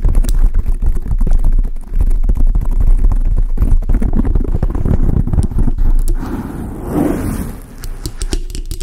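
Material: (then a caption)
Foam. A large dark grey foam windscreen on a microphone is scratched and tapped with long acrylic nails, giving a dense run of soft, rapid scratching and tapping. The sound is heavy with low rumble and muffled thumps, with a brief rougher, brighter rustle around the seventh second.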